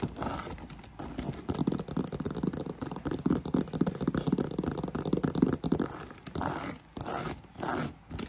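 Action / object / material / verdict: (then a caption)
scrape / croc-embossed faux leather handbag / faux leather / none. Long pink nails scratch and tap quickly and aggressively on the front of a black croc-embossed faux leather handbag held up in the air. Dense, rough scraping and rapid dull taps carry a low-mid body over a steady airy hiss from a fan in the background. Near the end come a few separate bright swishing bursts.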